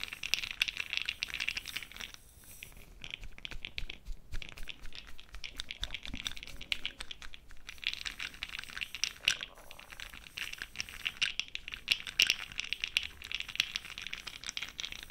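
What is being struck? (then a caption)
Small plastic jar of cosmetic powder pearls. A small clear plastic jar filled with cosmetic powder pearls is held in the hand while a fluffy brush stirs the pearls in a swirl. The result is a dense, bright rattling and crinkly scratching made of many tiny overlapping clicks. The sound thins out briefly in a few spots before the swirling picks up again.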